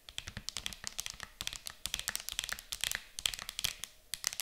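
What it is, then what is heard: Plastic game case tapped with nails. Long acrylic nails tap quickly on the lid of an empty, clear hard plastic game case lying closed and flat on a table. The result is a dense stream of sharp, bright, clicky taps with almost no ring and very little low end.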